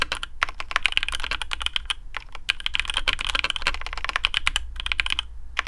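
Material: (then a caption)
Plastic. Fingertips of both hands type quickly on a black custom AARU mechanical keyboard with TTC Speed Silver switches, PBT plastic keycaps, a carbon fibre plate and a hollow case. The result is a steady run of short, bright, clacky keystrokes with brief pauses, each dying away almost instantly over a faint low hum.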